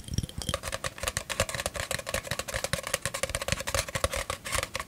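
An empty, hollow, long brown cardboard tube is held in both hands close to the microphone and tapped with fingertips and nails along its surface and at its open end. A quick, steady run of short, dry taps follows, each with a hollow tone around 550 Hz and bright clicky edges from the nails. Every tap dies away almost at once.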